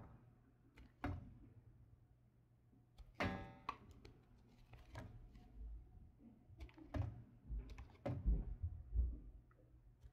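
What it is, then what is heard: Bar of soap being carved. A solid light blue bar of soap with a little gold coating left on it, held in the hand, is carved with a red patterned knife, scraping and cutting off shavings. Soft, irregular scrapes and dull low thuds sound at an uneven pace, with a few brief bright scraping bursts and very short decay.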